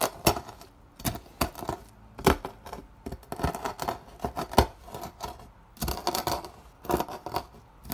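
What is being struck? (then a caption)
Soap curls and flakes crushed under a wooden block. A wooden block repeatedly presses down on a partly crushed pile of dry, brittle soap curls and flakes on a white surface, grinding them into fine pink crumbs. Short, sharp crunches and crackles come in irregular bursts with quick decay and no ringing, each followed by a softer gritty rustle as the flakes break apart.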